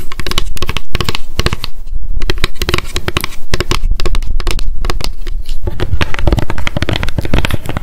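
Long decorated acrylic nails rapidly tap and scratch a small pink m.memo spiral-bound paper notebook with a card cover, held in the hands. The result is a dense, continuous patter of short, dry clicks and scrapes with a deep, thuddy body and brief crinkly edges.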